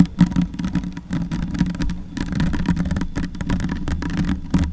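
Long white nails and fingertips scratch and rub a soft, porous black foam windscreen on a silver Yeti microphone. The result is a dense, low rumbling crackle with a muffled hum around 176 Hz. Rapid scratchy bursts flicker through the highs throughout.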